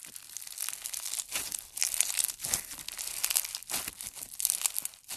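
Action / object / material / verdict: scrape / slime with polystyrene foam beads / slime, foam beads / none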